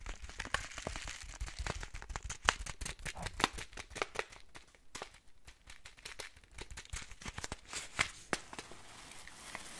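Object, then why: Foil-lined paper spice packet. A small, flat, green printed spice packet of foil-lined paper, thin and flexible, is held in both hands and crinkled and squeezed with the fingertips. Dense, sharp, bright crackles come in quick bursts with a lighter papery rustle between them. A brief quieter stretch falls midway, and the crinkling keeps going to the end.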